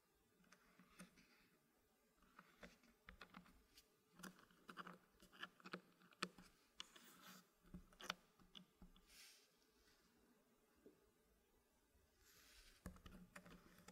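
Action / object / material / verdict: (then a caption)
tap / small wooden blocks in a wooden frame / wood / none. Fingertips press and tap an assembled group of small solid dark-wood puzzle blocks sitting inside a green-painted wooden frame. The sound is a quiet, scattered series of short, dry wooden clicks and soft knocks with brief brushing scrapes, under a low steady hum.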